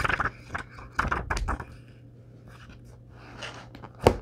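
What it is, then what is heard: Paperback book pages riffled. A thick paperback book held in the hands over a wooden table, with a thumb riffling fast through the edges of its paper pages in repeated flips. Soft papery bursts come in clusters with quieter rustling between them, and a sharper flutter near the end.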